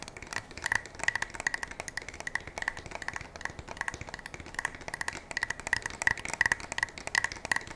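A black polymer and metal pump shotgun is held upright while fingertips and nails tap on its fore-end and receiver. The result is a rapid, irregular series of short, dry, woody knocks with a hollow ring around 1.9 kHz and almost no low end. Each tap dies away almost instantly.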